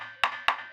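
Two taps on the wooden body of a mango wood dhol drum shell give two short, bright, ringing knocks centered around 1 kHz. A faint tonal hum sits beneath them. The clear ring shows this is a good-quality shell, unlike a bad one that sounds dull.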